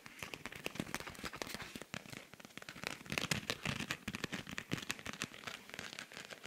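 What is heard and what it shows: A silver rhinestone-covered cosmetic pouch with pink trim is held up in both hands while fingernails scratch and tap across its beaded surface. The result is a dense run of sharp, bright clicks and crackling scrapes that rise and fall in intensity without pause.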